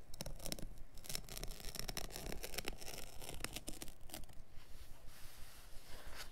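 Fingertips and a palm rub and scratch across the surface of a small, dark, synthetic-pile carpet offcut lying on a cutting mat. Quiet, dry, brushy scratching comes in quick, uneven strokes, each a short bright rasp with no ring. The strokes fade toward the end, leaving a faint hiss.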